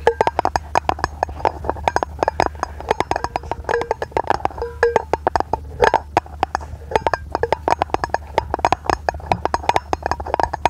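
A round brushed aluminum lid, held in both hands, is tapped rapidly on its face with long painted nails. The result is a quick, uneven stream of dry, sharp clicks with very short ring, some carrying faint metallic tones, over a steady low hum.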